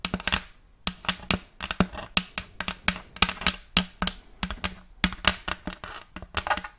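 Long acrylic nails tap and scratch the face and rim of a round wooden plate with a checkerboard-block pattern, held upright. Quick, dry, bright clicks come in irregular bursts with almost no ring, while a soft scratchy hiss fills the gaps between taps.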